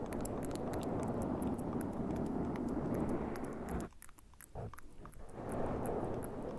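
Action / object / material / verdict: scrape / foam microphone windscreen / foam / none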